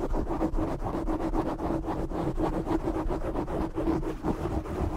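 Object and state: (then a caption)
Foam microphone windscreen being scratched. Short fingernails and fingertips of both hands scratch and rub a black foam windscreen over a large desk microphone. The result is a dense, continuous rough scratching and rustling with a heavy low rumble, a steady tone near 330 Hz, and almost nothing bright on top.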